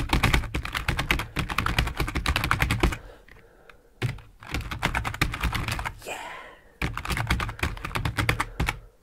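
Fingertips of both hands type on the keys of a full-size black plastic computer keyboard resting on a wooden desk. Rapid bursts of short, dull clacks with a low thud and bright click edges are broken by brief pauses. A soft, breathy rustle fills one of the gaps before the typing resumes.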